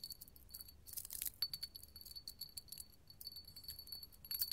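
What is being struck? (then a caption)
Small hobnail glass candle holder. A small, clear, hollow hobnail glass candle holder is held in the hand and scratched and tapped with long gold metal finger claws. The result is a quick, bright run of high glassy clicks, tinkles and scratches with a short, high ring. Brief louder bursts of scraping and clinking come near the start and the end.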